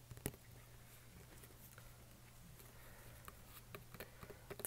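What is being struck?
Cardboard game box.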